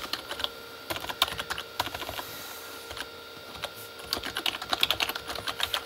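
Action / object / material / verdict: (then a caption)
tap / plastic keyboard keys / plastic / none. Both hands type with their fingertips on a full-size Corsair K35 plastic mechanical keyboard with red-backlit plastic keys. Rapid bright, clicky keystrokes come in bursts, with a quieter stretch in the middle before a fast flurry at the end. Each clack is short and dry, with almost no low end.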